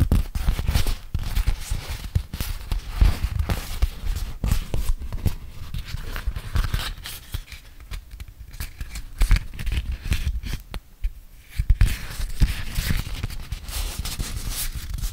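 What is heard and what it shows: A medium-size, flat yellow beeswax-coated cotton food wrap with an animal print is held spread open in both hands while fingers fold and crinkle the stiff waxed cloth into a triangle. Dense, crinkly, scratchy rustling and sharp crackles come with soft low thumps from the handling, easing briefly before picking up again.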